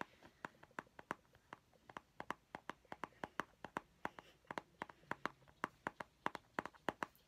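A small, round, hollow plastic mint tin with a purple label is held in the hand and tapped on its lid and side with painted fingernails. Quiet, dry, hollow clicks come in a quick, slightly uneven rhythm, each centered around 930 Hz and dying away almost instantly. The 34 distinct taps stand out against a soft background hiss.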